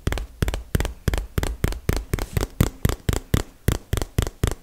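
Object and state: Cardboard box.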